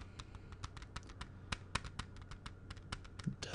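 A small, hollow, clear hard plastic CD jewel case with a disc inside is held in one hand and tapped with the fingertips of the other. About seventeen quick, light, dry clicks sound in an uneven rhythm, each bright and gone almost at once. A steady low hum sits underneath.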